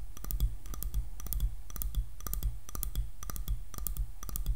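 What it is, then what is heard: Wooden hairbrush back, fingernail tapping. Long nails tap on the back of a light, solid wooden hairbrush, making quick, bright clicks. The clicks come in short clustered bursts about once a second over a low, steady hum.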